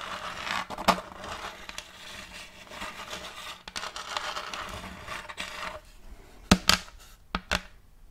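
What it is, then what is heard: Wooden plate. Long acrylic nails scratch and tap a round wooden plate with a checkerboard-block pattern, held upright, working over its face and rim. Dry, continuous scratching fills the first six seconds with a few sharper clicks, then several crisp, bright taps ring out near the end with almost no ring.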